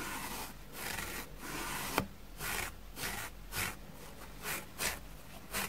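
A white plastic spoolie brush is scraped back and forth across a dusty grey porous foam sponge block held in hand, shedding dust onto a wooden table. The steady bright, hissy scratching swells and fades with each stroke, with one sharp click near the two-second mark.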